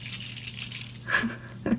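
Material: Plastic.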